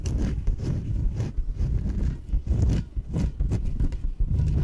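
Long nails tap and scratch the top and sides of a small yellow inflatable PVC exercise ball, hollow and filled with air. The result is a steady run of dull, low, hollow thumps with rubbing scrapes between them, each one dying away almost at once with faint bright scratchy edges.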